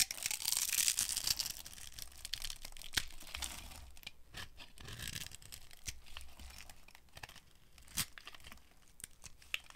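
A small metal blade cross-hatches and carves a hand-held, dry, solid brown soap bar, scraping off crunchy shavings and cubes. Bright, dry scraping and tearing crunches are loudest in the first second or two, then settle into softer, irregular scrapes broken by a few sharp clicks around three and eight seconds.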